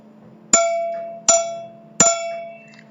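An aluminum part is tapped three times with a stick, each strike giving a bright, ringing metallic clang. The tone is rich in high overtones and each strike rings on before fading.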